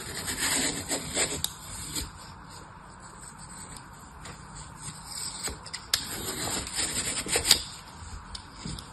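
An orange utility knife blade carves along the surface of a large, solid block of green phenolic floral foam with punched holes, held flat on a table by one hand. Dry, bright scraping and cutting rasps come in uneven bursts, with a few sharp crisp clicks, and a quieter stretch in the middle.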